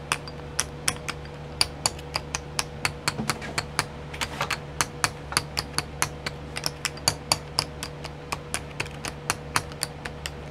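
Long nails tap the lids of twelve small clear plastic pots filled with sequins, set in a pink tray, giving about 43 sharp, bright clicks that die away almost instantly. The taps come in a quick, uneven rhythm over a steady low hum.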